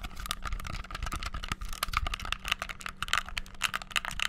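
Thumbs and fingertips rapidly bash the buttons of a hollow white plastic gamepad. The result is a dense, fast stream of short, dry, bright plastic clicks and rattles with almost no ring, over a faint steady low hum.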